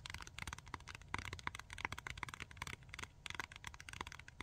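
Long nails tap and scratch a flat Tack-it pack, with pink adhesive strips under a plastic cover on a card backing. The result is a fast, dense run of sharp, bright plastic clicks and crackly scrapes over a steady low rumble.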